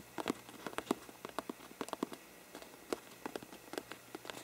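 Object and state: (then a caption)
Paper lampshade scratched and tapped. Curled fingertips scratch and tap the sides of a hollow faux-parchment paper lampshade. The result is a quick, irregular run of soft, dry, papery taps and scratches with a light hollow midrange body. The sounds are quiet and die away instantly.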